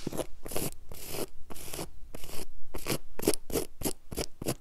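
Long yellow acrylic nails and fingertips scratch and rub quickly across a flat, solid low-pile woven grey carpet on the floor. Short, bright rasping bursts follow one another in an uneven rhythm, each ending in a dry, brief scrape with a faint low rumble beneath.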